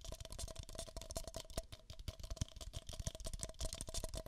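Long nails scratch and tap on two identical empty, hollow beige paper cups, producing a rapid, dense stream of dry clicks and scratchy rustling. Soft low thumps sit under the crisp, bright taps, and each one stops almost at once with no ringing.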